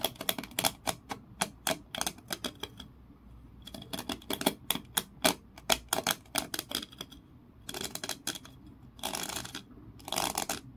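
Fingernails scratch fast along the grooves of a small, solid, ridged wooden block held in both hands, making rapid runs of short, dry, bright clicks with a faint tone near 3.3 kHz. Toward the end, the clicks give way to longer rasping scratch bursts. The sound stays close and quiet, with almost no low end and no ring after each stroke.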